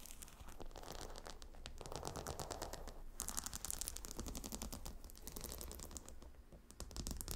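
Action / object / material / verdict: scrape / pillow covered in glossy hexagonal stone tiles / stone / none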